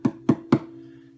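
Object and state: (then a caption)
Resonant thin wooden ukulele back. Three knocks on the thin, arched wooden back of an Aklot double-neck bass/tenor ukulele. Each knock gives a short, woody thump with a low tone around 320 Hz, and a faint hum lingers after the last. The back sounds quite resonant, helped by how thin it is.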